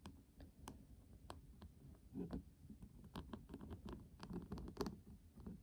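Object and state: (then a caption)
Metal tin eyeshadow palette. A flat, hollow metal tin eyeshadow palette with a pink printed lid and gold rim is tapped with a fingertip on the lid, then tapped with several fingertips while it lies on a table. The result is a quiet, rapid patter of soft, dull taps, mostly low and muffled, with brief faint clicks that die away almost at once.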